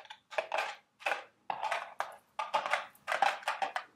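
Long red nails tap and scratch the walls of a small carton-shaped cardboard Dubble Bubble gum Easter eggs candy box resting on a table. Dry, papery scratching and tapping comes in short bursts separated by brief silences, with a hollow midrange tone and a bright hiss on top. Each burst fades quickly, with no low end.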